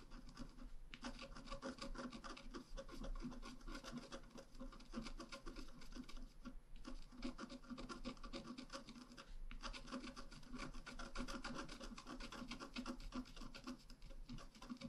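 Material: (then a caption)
Coated paper. A wooden stylus scratches details near the bicycle basket on a flat, black-coated scratch art paper card held down with one hand. It makes a steady, dense run of fine rasping strokes with brief pauses, a soft dry scratching texture that continues through the whole clip.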